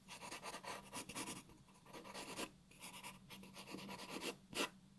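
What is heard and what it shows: A graphite pencil draws outlines on a white paper sheet resting on a wooden table, making bursts of dry, bright scratching strokes. Short pauses separate the strokes, and a faint steady low hum sits underneath.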